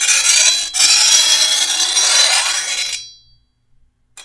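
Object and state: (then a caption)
Steel machete blade being filed. A hand-held steel file is drawn along the edge of a long, thin, solid steel machete blade, making a bright, harsh rasping scrape. The scrape has a brief break near the start and runs for about three seconds before fading out with a thin metallic ring. A faint scrape returns just at the end.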